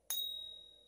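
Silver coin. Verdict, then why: Real. A silver coin is pinged once against another coin, giving a single bright, clear ring at about 3.8 kHz that slowly fades over the rest of the clip. It rings better than the first coin, feels heavy, and passed the ping test on a phone app and a coin store check, so it is real silver.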